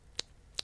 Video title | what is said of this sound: NEW Bassmaster Classic Lures Unboxing (INSANE Lure Colors!) | It's hollow. So it's got this spot where it catches air.